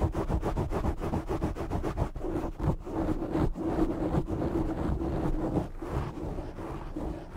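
Short nails scratch a black foam windscreen on a desktop microphone from both sides, making a dense, rapid rustling and scraping. The sound is close, muffled and heavy in the lows, with quick irregular strokes and little bright content.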